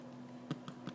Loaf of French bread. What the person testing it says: when you tap the bread you can hear it